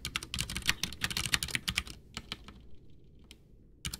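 Both hands type with their fingertips on a full-size white plastic mechanical keyboard, a backlit Ducky One 2 with Cherry MX Brown switches and a hollow case, sitting on a desk, pressing and tapping keys. A quick run of crisp, bright clacks fills the first two seconds, then thins to a few scattered taps and a near-silent pause before a final burst of clicks at the end.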